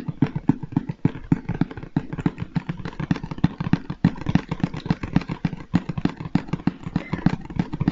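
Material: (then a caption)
Cardboard. A large, hollow Lego Stormtrooper cardboard box, held upright, is tapped on its face with the fingertips and flat hand in a rapid, steady stream. Each tap is a dull, hollow, low thump that dies away almost instantly, with a faint papery click on top and very little brightness.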